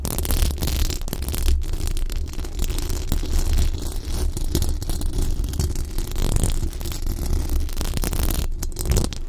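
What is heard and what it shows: Long acrylic nails and the fingertips of both hands scratch and brush across the hollow, dome-shaped metal mesh grille of a large condenser microphone. The result is a dense, continuous rumbling scrape that is heavy in the low end around 100 Hz, with faint bright scratchy flecks on top. The level stays fairly steady throughout.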